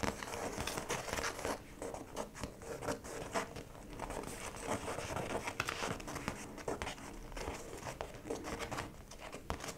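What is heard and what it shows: Long pointed nails tap and scratch across the clear plastic (PVC) face of a small, round, hollow cosmetic zip pouch with yellow trim, lying flat with a flat printed yellow card inside. The result is a steady stream of quick, crisp, crinkly taps and scratchy rasps with little ring.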